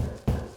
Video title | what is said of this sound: SPECIAL Dan & James Project Tour | it sounds solid like a block wall